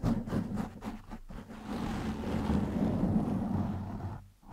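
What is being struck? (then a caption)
Foam microphone windscreen. Fingertips and short nails on both hands scratch and rub the surface of a black foam windscreen over a microphone. Quick, rhythmic scratching strokes give way to a continuous, dense, crackly rubbing with a heavy low rumble. The sound then fades out at the end.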